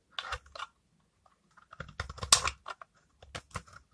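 A utility knife blade scrapes curled dry shavings off a hand-held, palm-sized, solid oval bar of old, hardened pink soap with a brown rind. Short, dry, crisp scraping and crunching bursts come in irregular clusters, bright and hissy with little low end. Each scrape cuts off quickly into silence.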